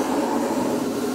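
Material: Nothing is struck.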